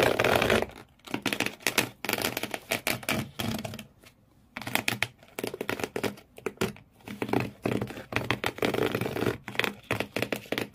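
Fingernails scratch hard across the corrugated cardboard floor inside an empty shoe box, leaving frayed marks. The scratching comes in quick, dense bursts of bright, rasping scrapes with short pauses between them, including a near-silent gap around four seconds in.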